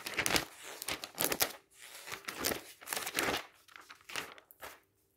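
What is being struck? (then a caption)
Glossy paper catalog pages. Fingertips quickly flip the glossy pages of an open paper travel catalog resting on a stack, producing bursts of bright, crisp rustling and crinkling with almost no low end. The flips come in quick uneven swells, then fade to near silence.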